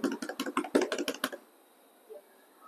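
A classroom table is tapped like a drum in a rapid run of about ten short, dry knocks over a bit more than a second, each with a mid-pitched body and brief bright clicks. The tapping then stops, leaving quiet room tone, in a lesson where listeners keep their eyes closed and tell by hearing alone that the table was tapped.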